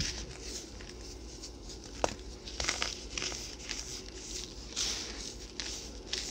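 A small solid chunk of pressed white baking soda, held in both hands, is crushed and rubbed between the fingertips over loose powder. It makes a steady bright, gritty crinkling and crackling, with sharp crisp snaps standing out as pieces break. The chunk crumbles apart onto the powder below.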